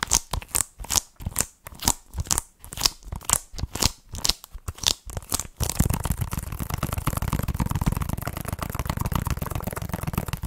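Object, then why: Plastic game case. Long red nails tap on a hollow plastic Nintendo Switch game case held close to the mic, striking the cover and edges in a series of separate, bright clicking taps for about the first six seconds. The tapping then turns into steady, continuous scratching across the case, a dense rustling texture with a full low end that runs to the end.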